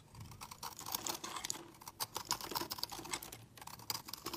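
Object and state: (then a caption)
Soap bar being shaved with a blade. A metal utility-knife blade shaves crumbly flakes from the edge of a palm-sized, solid, round yellow soap bar held in hand. Quick, dry, crisp scraping crackles follow one another in a steady, bright, papery patter, with short pauses between bursts of cutting.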